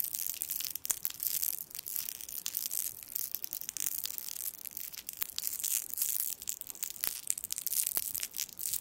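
A small gold foil sweet wrapper with twisted ends is held in the fingertips over the microphone and twisted and crinkled. It makes a steady, dense crackle of bright, crisp foil crinkles with sharp little snaps scattered throughout and almost no low end.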